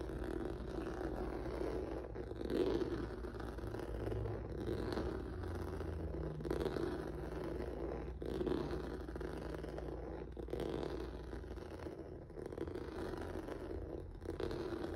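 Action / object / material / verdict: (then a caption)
scrape / rubber noodle-texture mat / rubber / none. Fingertips and nails scratch across a flat black rubber/vinyl mat with a textured noodle surface. The result is a steady, dense rasping scrape centered in the low-mid range, with a continuous low rumble beneath and little high-end brightness.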